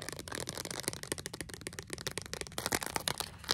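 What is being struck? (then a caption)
Small cardboard card tapped and scratched by fingernails. A small white cardboard display card holding cherry earrings is held in both hands while long decorated nails tap and scratch quickly along its edges. The result is a dense run of sharp, dry clicks and papery scratches with bright, crackly highs and almost no ring after each hit.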